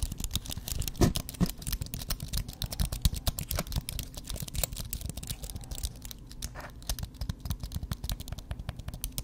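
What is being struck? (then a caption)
Aluminum and plastic computer keyboard. A slim white computer keyboard with plastic keys on an aluminum base is held up in one hand while the other hand's fingertips and nails tap and type quickly across the keys. The result is a dense, steady stream of short, dry clicks and taps, each with a low thud and a bright, crisp edge that dies away almost at once.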